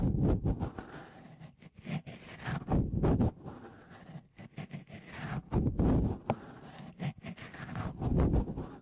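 Fingertips rub and squeeze a small, hollow, white dimpled cover, likely silicone, fitted over the left microphone capsule of a Tascam recorder. The result is close, muffled, bassy rustling and soft thumping in uneven swells, with almost no bright content.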